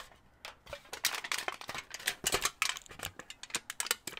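A small crumpled piece of thin aluminum foil is held in both hands near the microphone while fingertips squeeze, crinkle and pull at it. Dense, bright, crackling bursts come in quick irregular clusters, with sharp snapping transients and almost no low end.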